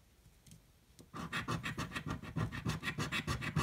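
A coin scratches the coating off a red, thin card scratch-off lottery ticket held flat by one hand. After a second of faint scrapes, about seventeen rapid, raspy strokes follow in a quick, uneven rhythm. Each stroke is a short, gritty burst with a low rub and a bright scraping edge.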